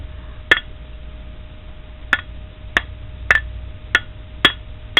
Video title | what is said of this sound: Mower engine parts inspection (Ringing the Bell) | For some reason, pistons don't do it as good. But it's still a solid noise. That's what a piston's going to sound like.